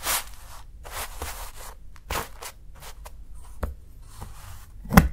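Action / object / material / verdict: scrape / dark chocolate bar shaved with a steel knife / chocolate / none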